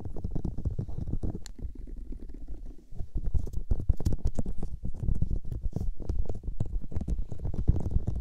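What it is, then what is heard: Silicone microphone ears being rubbed. Palms and long-nailed fingers cup and rub the soft, hollow white silicone ears of a 3Dio microphone in a massaging motion. The result is a dense, muffled, low rumbling rustle with constant soft thumps and brief bright scratchy flicks, easing slightly before swelling again around the third second.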